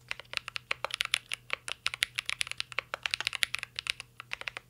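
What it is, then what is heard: Mechanical keyboard typing. Fingertips of both hands type steadily on a full-size CYBERBOARD R3 mechanical keyboard with an aluminum case, plastic keycaps and Holy Panda switches. About 34 sharp, bright key clacks come in quick, uneven succession, each dying away almost at once. A faint low hum sits underneath.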